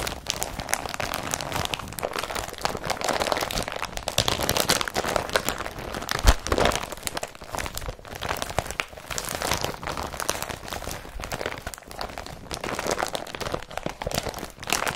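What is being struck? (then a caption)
Woven polypropylene carrier bag. An empty blue woven polypropylene IKEA BRATTBY carrier bag is rubbed, pressed and lifted with flat hands and fingertips. The fabric gives a steady, dense crinkling and crunching rustle with bright, crackly edges, with short dry bursts of louder crunches throughout.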